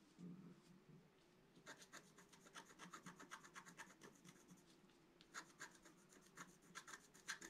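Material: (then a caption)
Coated card. A wooden stylus scratches leaf shapes near the top edge of a flat black-coated scratch-art card lying on a table. A rapid series of short, dry, bright scratching strokes comes in bursts over a faint low hum, with a pause near the middle before the scratching picks up again.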